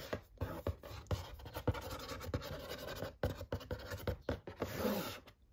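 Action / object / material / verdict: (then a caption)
scrape / cardboard box / cardboard / none. Long nails tap and scratch along the face and edges of a large printed cardboard gift box for a glass jar set, held upright. Sharp, dull taps punctuate a steady dry scratching texture, with each tap dying away almost instantly.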